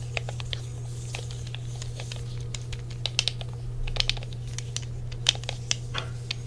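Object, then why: Plastic game controller. Fingertips tap across the shell and press the buttons of a grey, hand-sized, hollow plastic original PlayStation controller. Quick, dry, bright clicks and taps patter irregularly, each dying away almost instantly, over a steady low hum.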